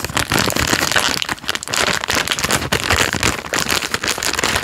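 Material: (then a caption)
Plastic film. The crinkled end of a full, plastic-film-wrapped Jammie Dodgers Unicorn biscuit packet is squeezed with the fingers. It makes a steady, bright crackling and rustling, with many quick crinkles running together and only brief dips in loudness.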